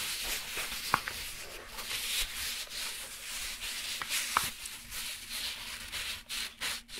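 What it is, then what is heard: Padded fabric laptop accessory case. Fingertips and short nails rub and scratch across the textile, nylon-like cover of a closed, medium black padded fabric zippered laptop accessory case held upright. The result is a steady, bright, hissy scratching with a couple of sharp ticks. Near the end it breaks into short, choppy strokes.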